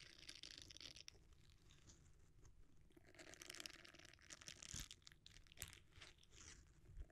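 Fingertips press and rub a red silicone bristle scrubber bent into a dome. The result is a dense, crunchy, crinkling texture with bright, scratchy highs over a soft low rumble, punctuated by a few sharper clicks.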